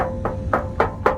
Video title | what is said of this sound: Walker Muffler Quiet Flow Changed Everything | But if you listen to this muffler, it's not tinny at all. See, it sounds solid.